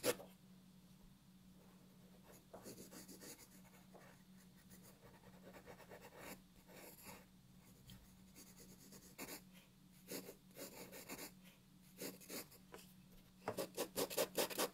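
A wooden graphite pencil is dragged across a flat paper sheet on a wooden desk while the other hand holds the paper still. Quiet, dry scratching strokes come in irregular bursts over a faint steady low hum, growing louder, brighter and quicker toward the end.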